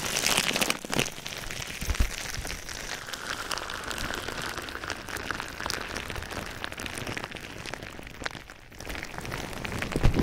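Clear plastic bubble wrap wrapped around a microphone is squeezed and rubbed by both hands with the fingertips. A dense, steady stream of crinkling, crackling and rustling fills the clip, with bright, sharp crackles over a low rumble of handling. The sound briefly thins out just past 8 seconds before picking up again with a few louder pops at the end.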